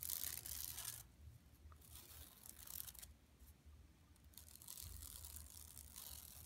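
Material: Woven plastic.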